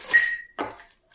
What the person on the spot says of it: you know that sounds like metal ... it is metal